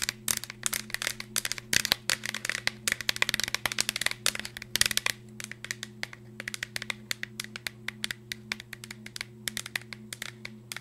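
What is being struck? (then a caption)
Cardboard chip canister with plastic lid. A green Pringles tube, a hollow cardboard cylinder with a plastic lid, is held up and tapped and scratched quickly with long nails. Sharp, dry, bright clicks and scratchy rasps come in dense bursts for the first five seconds, then thin out into sparser taps, all over a steady low hum.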